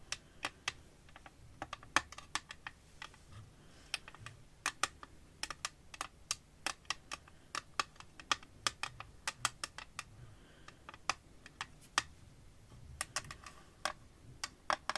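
Long nails tap repeatedly on the clear back panel of an empty, transparent glass-and-plastic phone case with a dark green rim, held in the hand. The result is a quick, uneven run of sharp, bright, dry clicks with almost no ring and very little low end. Near the end the case is lifted and tilted.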